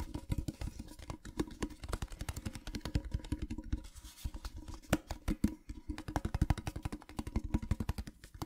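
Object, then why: Small printed metal tin box. Fingertips and nails tap rapidly on the sides and top of a small, hollow, rectangular printed metal tin with a patterned surface. The result is a steady stream of quick, dull, hollow clicks with a low body and a faint tonal ring that dies almost at once.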